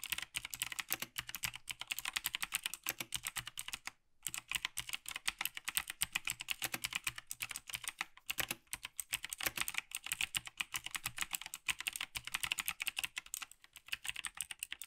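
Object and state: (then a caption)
Plastic mechanical keyboard. A black plastic Logitech G PRO TKL tenkeyless mechanical gaming keyboard is typed on continuously by two gloved hands, fingertips pressing its clicky keys. Rapid, bright, sharp clicks and clacks come in dense bursts, with one brief pause a few seconds in. Each keystroke dies away almost at once with very little low end.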